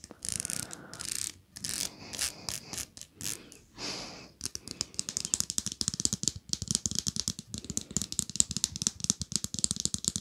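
A small, solid pink plastic wide-tooth comb has its teeth scratched and plucked with long nails. Bursts of bright, hissy scratching in the first four seconds give way to a fast, continuous run of sharp, dry rattling clicks.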